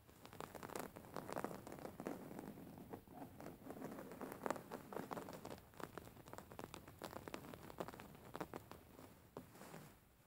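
Long painted fingernails of both hands scratch across a soft, stuffed white cotton pillow with raised thread embroidery. The result is a quiet, steady stream of dry, papery scratches and rustles, with many short, bright scrapes and a soft patter like light rain.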